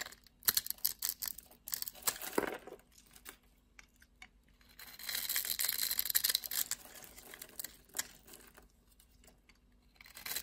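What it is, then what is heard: Black soap bar being scraped. A blade scrapes and cuts into the scored surface of a solid, dark black soap bar. Crisp, bright scratching and crumbling clicks come in irregular bursts separated by quiet pauses, with a longer, denser stretch of scraping in the middle of the clip.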